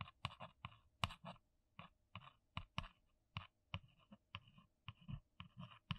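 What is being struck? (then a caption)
Cardboard box. A single long nail taps and scratches the top of a flat, brown, printed, hollow cardboard box. A quick, uneven run of dry, short clicks with a papery scratch follows, each tap dying away almost instantly, with a hollow low thump beneath bright, crackly surface texture.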